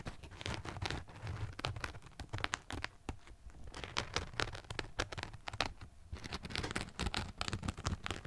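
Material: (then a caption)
Rubber. A running shoe is held upside down in front of a microphone while fingernails scratch and tap its textured rubber and foam sole. Dense, crackly scratching mixes with quick, dry taps, each one short with almost no ring. A soft low rumble sits underneath and the bright clicks stay close and intimate.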